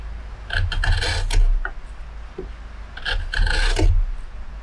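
A metal hook gouge carves and scrapes the hollow dished interior of a large carved wooden plate, full of pale wood shavings and held in a workbench. Two bursts of repeated rasping strokes give a bright scraping texture over a steady low rumble, with quieter gaps between them.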